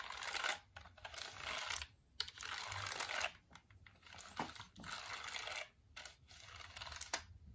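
A black plastic computer keyboard with a cable is held in the hands while fingertips type on the keys and rub across them. Quiet, bright, dense clicking and scratchy rustling come in uneven bursts separated by brief near-silent gaps, with almost no low end.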